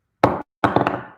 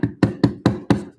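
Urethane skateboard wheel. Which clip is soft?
The second.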